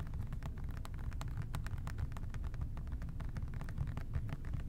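Fingertips tap a hollow plastic OxiClean spray bottle with a white trigger top, held in both hands. The taps come quickly and steadily as short, dry clicks over a dull, low, hollow thump that stays at an even, soft level throughout.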